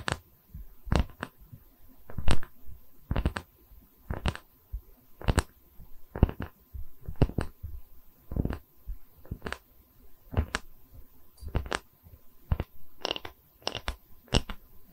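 A round, solid wooden tree-slice coaster with a bark edge has its face scratched with long nails, then is lowered and held in both hands. Sharp, brief scratching strokes recur throughout at irregular intervals, each reaching up into bright high frequencies over a quiet, low, rumbling background.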